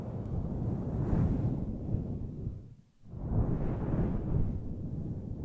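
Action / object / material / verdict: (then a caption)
scrape / synthetic fur microphone windscreen / synthetic fur / none. Long glossy nails and fingertips rub and scratch a large, fluffy grey faux fur microphone windscreen, a soft, hollow synthetic fur cover over the mic. The result is a deep, muffled rumbling rustle heavy in low frequencies, swelling in two waves with a brief near-silent dip around the middle.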